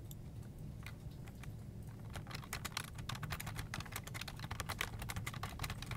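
Both hands tap and press the hollow keycaps of a full-size black plastic desktop keyboard with their fingertips, producing a steady run of short, bright plastic clicks. The keystrokes are sparse at first, then grow quicker and denser, all over a constant low hum.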